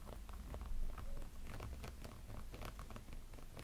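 Fingertips and nails scratch the textured silicone body of a small, hollow, glowing light-up snowman figure. The result is a quiet, irregular run of soft, dry scratches and crackles over a low, dull rumble, with a brief bump in loudness near the start.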